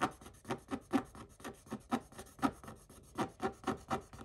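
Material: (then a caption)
Coated paper. A wooden stick is scraped repeatedly across the same scratch-off coated paper page. Short, dry, raspy strokes follow one another at an uneven pace, each a brief papery scratch with a bright, hissy edge that dies away almost at once.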